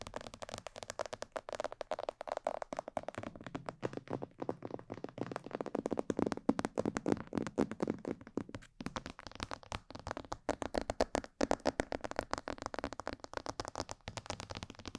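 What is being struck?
Plastic mannequin head.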